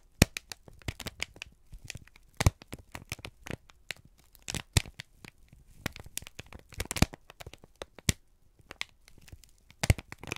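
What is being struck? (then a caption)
Thin kraft paper sheet. A single thin, crumpled sheet of brown kraft paper is held in both hands and squeezed and crinkled with the fingertips and thumbs. It produces dense, irregular crackles and crinkles made of many sharp, dry snaps that reach up into bright highs, with softer rustling between them.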